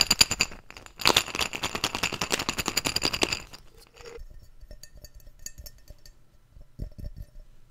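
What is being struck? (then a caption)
Glass jar with lid. A medium, empty clear glass jar with a yellow lid and a label is held in one hand and tapped rapidly with the fingertips and nails, giving a dense run of bright, glassy clinks for about three and a half seconds. Softer, scattered taps follow until the end.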